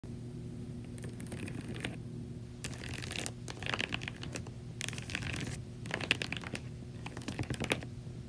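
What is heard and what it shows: Long acrylic nails scratch and tap the slotted side of a large, hollow white plastic laundry basket filled with clothes. Bursts of bright, crackly scratching and quick taps come in several rough passes over a steady low hum, with a few sharper clicks standing out near the end.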